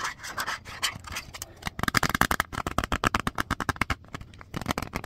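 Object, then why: Thin plastic DVD case. A small, thin, clear plastic DVD-R case with an orange paper insert and a disc inside is held in both hands and rubbed and scratched with long fingernails. Soft, hissy rubbing gives way after about two seconds to a quick run of sharp, bright, clicky scratches with no ring. A brief quiet pause breaks the run before the scratching picks up again at the end.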